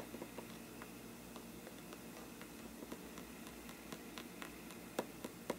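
The tip of a thin brush handle taps the paper side of a hollow faux-parchment paper lampshade. Quiet, dry, papery ticks land at an uneven pace over a steady soft hiss, each dying away almost at once, with the last few taps sharper and brighter.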